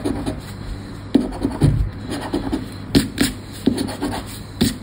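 A hand holds a thin, flat, credit-card-sized Sorte Neon paper lottery scratch card down on black cloth with its fingertips and scratches the coated play area with the edge of a round red plastic scratcher disc. Short, dry scraping strokes come in uneven bursts with sharp attacks that die away almost at once. The soft, low-mid rasping sits over a faint steady background.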